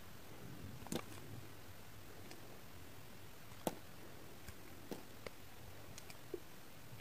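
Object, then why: Glycerin soap bar shaved with a knife. A solid, translucent pink glycerin soap bar, held in the hand, is shaved with a pink kitchen knife, with flakes piling up behind it. About seven short, dry scratching clicks and ticks stand out over a quiet, low background hiss. Each one ends almost at once.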